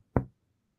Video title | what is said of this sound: Enfermería y Paramédico Septiembre 2024 - 2025 02 18 | empezamos a percutir Siempre sobre los espacios intercostales vamos a escuchar sonoridad